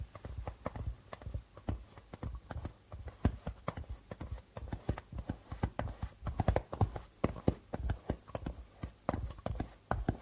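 Fingertips of both hands tap rapidly on a hollow darbuka drum with a white plastic head. The result is a steady stream of short, dry, low thumps around 105 Hz in an uneven, galloping rhythm, with almost no bright content and no ring after each tap.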